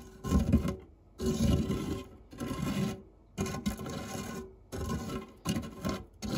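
A white silicone spatula scrapes and pushes along the crumb-covered base of a round, dark non-stick metal fluted tart tin. It makes a low, dull rasping rub in repeated strokes separated by brief pauses, with little bright content.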